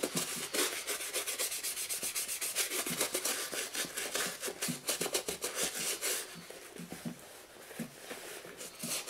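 A toothbrush held in the fingers scrubs the foamy, soapy upper of a black and green leather high-top sneaker, hollow and empty, resting on a wooden chair seat. Quick, uneven strokes make a bright, wet scratching and brushing sound, with short clicks and almost no low end. The scrubbing grows softer and sparser toward the end before picking up again.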